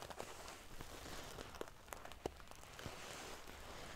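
Fingernails scratch and ruffle the silver metal paillettes covering a sequin pillow. A quiet, steady crinkly rustle runs throughout, broken by scattered sharp, bright metallic ticks that die away almost instantly.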